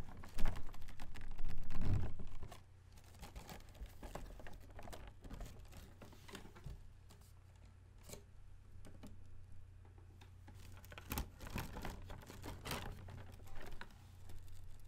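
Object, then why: Plastic folding fan with fabric leaf. A hand-held plastic folding fan, about 20 cm, with white plastic ribs and a pleated floral printed fabric leaf, is held in one hand and snapped open and shut. A loud flapping rustle of the leaf opens the clip, followed by quieter, uneven clacks of the ribs and soft leaf flaps over a steady low hum.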